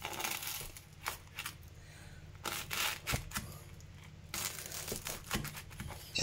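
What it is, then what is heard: Crisp-baked bread pizza. A stale-bread pizza topped with pepper paste and melted kasar cheese is cut after baking, giving repeated dry, crisp crunching and crackling as the bread crust breaks, over a low steady hum. The crust is baked crisp, and the cheese has melted nicely.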